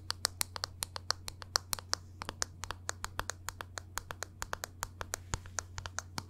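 A small, hollow black plastic NARS makeup compact, held in one hand, is tapped rapidly with long nails. About 41 quick, sharp, bright clicks fall in a steady, uneven rhythm, each dying away at once, over a faint low hum.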